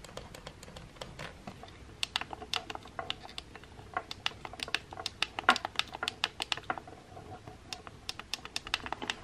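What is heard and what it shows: Fingers with painted nails press and tap the buttons on the metal button plate of a pink plastic hair straightener with a black cable. Dozens of quick, dry, bright clicks follow each other in an uneven, typing-like rhythm. Each click is sharp and dies away almost at once, with a few louder taps in the middle.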